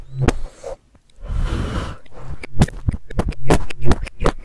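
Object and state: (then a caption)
Fuzzy fabric microphone cover. A black fluffy fabric microphone cover, held in one hand with nails resting on it, has its fibers picked and plucked with a pink stick and then metal tweezers. Close, muffled thumps and a soft scratchy rustle of fibers give way to a quick, uneven series of sharp, low plucking taps.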